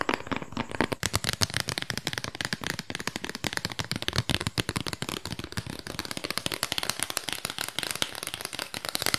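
A small, flat, square cardboard album sleeve with a printed disc on the front is held in the hands and tapped fast with long pink nails. The result is a rapid, continuous stream of dry, crisp, bright clicks, each dying away almost instantly.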